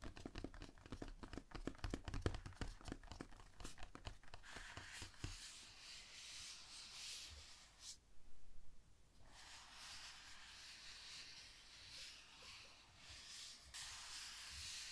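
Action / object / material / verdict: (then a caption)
scrape / closed rigid cardboard box / cardboard / none. Long painted nails scratch and rub the top surface of a large, closed, hollow rigid cardboard gift box lying flat on a wooden table. Quick, dense scratching strokes with a hollow low thump come first. Then a steady, bright, hissing rub takes over, broken by a brief louder scrape near the middle.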